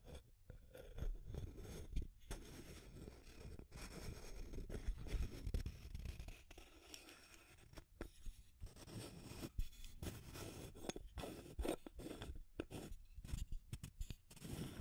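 Long nails scratch the side of a small clear plastic tube container and tap its aluminum screw lid. The result is a dense run of dry, low-heavy scraping and quick ticking taps that die away almost at once, with brief silent gaps between bursts.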